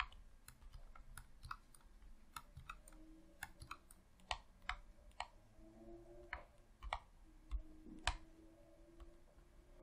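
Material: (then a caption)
Plastic. A hollow red plastic Xbox controller, held in both hands over a tablecloth, is worked by fingertips with short painted nails pressing its buttons and thumbsticks. The result is a quiet, irregular series of short, sharp clicks with very little ring, heard over a low background rumble.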